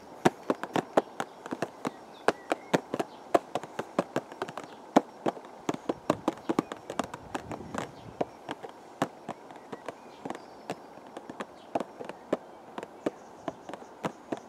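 A hollow purple cardboard teacake box, held upright in the garden, is tapped with the fingertips in a quick, uneven stream of taps. Each tap is a short, dry, papery knock centered in the low-mid range with almost no ring, heard over a faint, quiet background.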